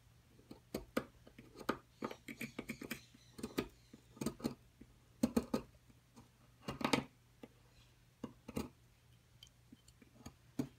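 A metal pick scrapes and chips into the excavated corner of a solid white plaster excavation block. Short, dry, bright scratches and taps come in irregular bursts, with quiet gaps between them and a faint low hum underneath.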